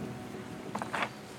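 Knuckle knocks on a wooden beehive give short, dry, hollow thumps with little ring, over a faint steady background hum. The hollow sound shows the hive is empty: the bees had all disappeared.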